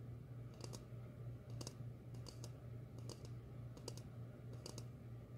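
A medium glossy red ceramic bowl, hollow and empty, is held upside down and tapped with long fingernails. Quick, bright clicky taps come in loose clusters over a steady low hum, and each tap dies away almost at once.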